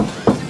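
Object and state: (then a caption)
Car roof panel, sound-damped. A single finger flick on the sheet-metal roof of a Honda Brio, after heat and sound insulation has been installed on the roof lining, gives a short, dull thud centered in the low-mid range. It dies away almost at once with no ringing, unlike the ringing the roof made before the damping was installed.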